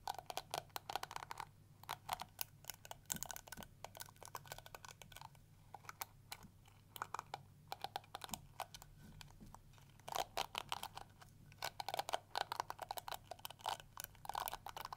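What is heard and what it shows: Long nails flick and scratch across the yellow plastic teeth of a round pink and yellow plastic detangling brush. Rapid, dry plastic clicks and ticks come in dense bursts, separated by brief quieter gaps. A faint steady low hum runs underneath throughout.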